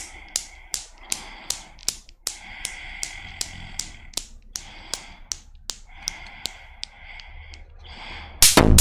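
A small chrome steel Newton's cradle, with five solid steel balls on a metal frame, is set swinging by long nails and gives sharp clicking knocks. About twenty evenly spaced clicks sound, with a faint metallic ringing between them; the clicks grow softer toward the end. The clip ends with a sudden loud, bright burst of noise.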